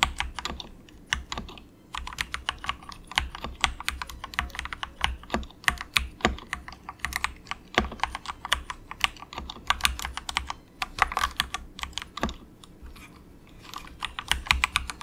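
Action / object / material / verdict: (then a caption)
tap / plastic mechanical keyboard / plastic / none. A compact 68-key plastic mechanical keyboard with dark grey plastic keycaps and an orange Esc key sits on a desk mat and is typed on softly with the fingertips of both hands. Quick, bright, short clicks and clacks patter in uneven bursts with brief pauses, over a faint low hum.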